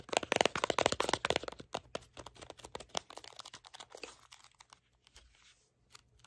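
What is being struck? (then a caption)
Small cardboard box. A small, hollow, red and green printed cardboard box is held in the hand, tapped with fingertips and scratched with short nails. Dense, dry papery scratching and crackling taps come first, then thin out into sparser soft taps and faint scrapes that fade toward the end.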